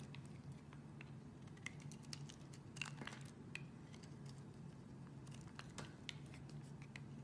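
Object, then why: Bar of soap scraped with a small metal blade. A solid white soap bar with an embossed pattern, held upright, is scraped along its edge with a small black metal blade by a hand with long red nails, and flakes fall onto the table in a scraping cut. Soft, dry scratches and crisp, bright little ticks patter irregularly over a quiet, steady low hum, with a few sharper scrapes standing out.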